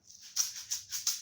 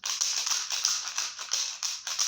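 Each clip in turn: First: Four quick hissing shakes, a fine high rattle of rice grains inside a small container. Second: A quick run of bright, crisp rattling bursts as a container of dry pasta is shaken.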